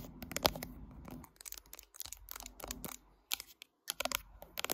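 A mid-size smartphone with a matte glass back and metal frame, held in a tripod clamp and itself doing the recording, is tapped and scratched across its glass back with long acrylic nails. Quick, bright clicks and dry scratching bursts come in irregular clusters with brief silent gaps, each tap dying away almost instantly, with little low end.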